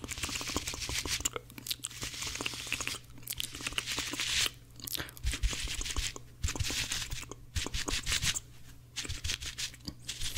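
Two dry, porous blue cellulose kitchen sponges with a scrubber layer, one held in each hand, are pressed and rubbed against each other with the fingers. The result is a dense, bright, crunchy crackling and scratching in fast, intense bursts, broken by brief pauses, over a steady low hum.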